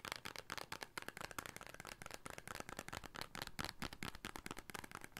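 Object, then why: Small paper soap box. A small red "Beauty Soap" paper carton, likely holding a bar of soap, is tapped and scratched with fingertips and nails close to the microphone. It makes a quick, continuous run of dry, papery taps and crackly scratches with almost no ring after each hit.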